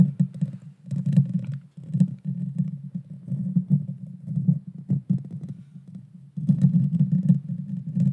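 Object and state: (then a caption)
Metal microphone grille. Long, dark-painted fingernails scratch and tap the hollow, rounded metal mesh grille of a red-brown Blue Yeti Nano USB microphone. The result is a dense run of close, muffled scrapes and quick ticks with a low, boomy rumble near 180 Hz. Faint bright clicks flicker on top, and the sound thins out briefly before resuming near the end.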